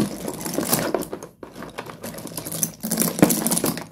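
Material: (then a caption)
Slate. A hand presses, scoops and drops broken pieces of solid slate pencil sticks in a pile inside a cardboard box. It makes dense, bright crunching and clicking rattles that pause briefly near the middle, then pick up again with another burst of clattering pieces.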